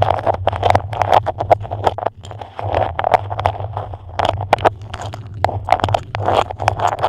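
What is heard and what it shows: A patterned beeswax-coated cotton food wrap is shaped over a microphone while long nails scratch and tap the stiff waxed fabric. Dense, crackly scratching is broken by many sharp taps over a steady low hum.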